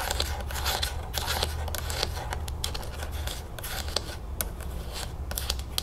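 Long acrylic nails rapidly tap and scratch the top of a green plastic screw cap on a full plastic lemonade jug held sideways. The sound is a quick, irregular stream of bright plastic clicks and scratchy rasps over a steady low hum.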